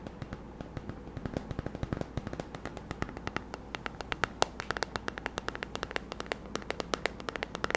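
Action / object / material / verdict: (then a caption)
scrape / plastic hairbrush back / plastic / none. Fingernails scratch and tap the hollow, hand-sized oval plastic back of a paddle hairbrush with a handle and a lemon-print pattern, held close to the mic. The result is dozens of quick, dry, crackling clicks in an irregular stream, each dying away instantly, over a faint steady low hum.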